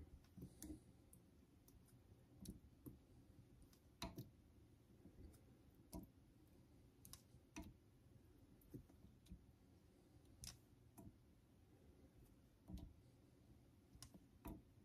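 A vintage Geneva Cutlery steel straight razor is stroked across a solid cream-colored synthetic fine honing stone set in a holder. About 16 sharp clicks ring out at irregular intervals over a quiet, low, rubbing scrape. Each click decays quickly.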